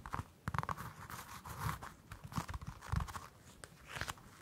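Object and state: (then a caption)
Orange peel scratched and tapped. Long acrylic nails scratch and tap the dimpled peel of a whole orange held in both hands. Soft, dry taps with low thumping bodies alternate with crackly, crunchy scratching across the solid fruit. Each touch dies away almost at once, leaving quiet gaps between them.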